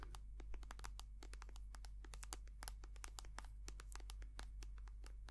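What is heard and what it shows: Long painted nails tap and scratch rapidly on a small white soft plastic squeeze tube of hand cream, hollow and filled with cream. The result is a quiet, dense stream of sharp, dry, bright clicks and scratches over a steady low hum.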